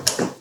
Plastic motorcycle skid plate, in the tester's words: kalau saya ketuk-ketuk dan saya lihat di bagian sini lapisannya tebel sih. Tuh, kesannya solid banget itu